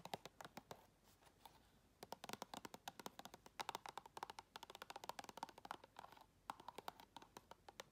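Long red nails rapidly tap and scratch the walls and lid edge of a round clear plastic tub full of white items, held sideways. The result is quick, sharp plastic clicks with a hollow ring around 900 Hz and bright ticks, broken by short scratchy stretches and brief pauses.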